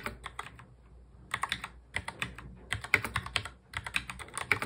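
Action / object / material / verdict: tap / plastic mechanical keyboard / plastic / none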